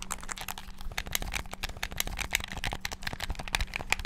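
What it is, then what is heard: Plastic game controller buttons. Thumbs and fingertips rapidly bash the buttons of a hollow black plastic game controller with a string tied around it. The result is a dense, fast stream of short, sharp plastic clicks with a bright edge near 2.5 kHz, over a faint steady low hum.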